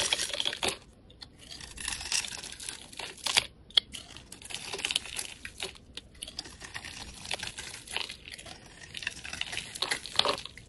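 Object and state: Soap bar being carved.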